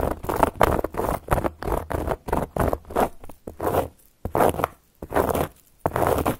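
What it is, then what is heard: Cork coaster being scratched. Long gold filigree metal claw nails scratch across a round, flat, solid cork coaster in a series of short, irregular strokes. Each stroke is a dry, rasping scrape centered in the midrange, with brief quiet gaps between them.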